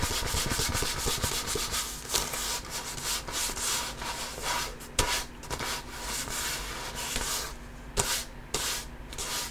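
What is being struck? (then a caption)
Composite leather basketball. Palm and fingertips rub and scratch the pebbled composite leather surface of a full-size inflated hollow basketball held at the bottom of the frame. The result is a steady, bright, hissing friction texture broken by a few sharper scratches.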